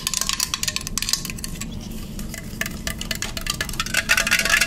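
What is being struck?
Aluminum drink can.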